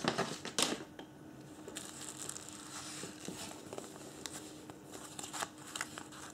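Bare fingertips unfold, crinkle and refold a thin printed paper instruction leaflet folded in long strips. The crinkling is bright and crackly and comes in irregular bursts, louder near the start and again toward the end, with a faint steady low tone underneath.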